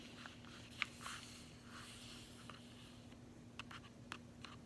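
Long fingernails tap and scratch the back of a closed cardboard chocolate bar sleeve while it is held. Six sharp, dry clicks stand out over soft scratching, and a faint low hum runs underneath throughout.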